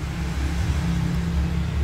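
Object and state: Nothing is struck.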